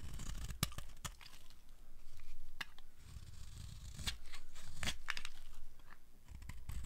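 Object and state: Dry soap bar being shaved.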